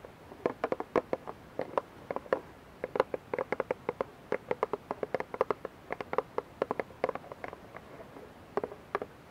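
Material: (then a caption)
Plastic. Long nails tap and scratch the sides of a clear, labeled plastic dish soap bottle that is partly filled with liquid and held in both hands. Dozens of quick, dry, hollow clicks come in an irregular, rapid patter, each centered around 500 Hz with a faint bright tick on top. Each click dies almost instantly against a quiet background.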